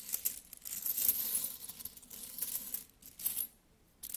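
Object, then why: Metal coins. Fingertips pick up, handle and drop solid metal coins, including a bimetallic coin held in the palm. The result is a run of soft, bright metallic clinks and jingles with quick rustling between them, almost no low end, and a brief quiet pause before a final clink.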